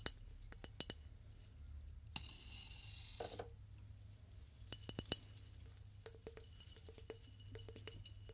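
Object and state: Flower vase.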